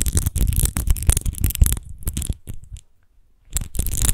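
Long nails scratch quickly over the embossed rose texture of an empty, hollow, clear glass wine bottle, making dense, rough scratching bursts with a low, rumbling body. The scratching thins out, falls nearly silent for under a second, then starts again just as briskly.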